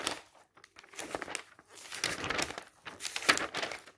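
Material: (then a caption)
Glossy paper. Fingertips grab and flip the thin glossy pages of a thick glossy paper travel catalog lying open on a magazine stack, one after another. Bursts of bright rustling and crinkling come with each turn, separated by brief quiet gaps. The sound is crisp and dry, with almost no low end.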